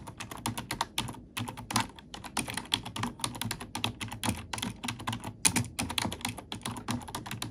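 A black plastic computer keyboard has its keys pressed and tapped with fingertips and nails at close range. It produces a steady stream of rapid, crisp clicks and clacks with bright, sharp attacks, a low plasticky thump beneath, and a very short decay. The irregular typing rhythm continues throughout, with a few louder taps standing out.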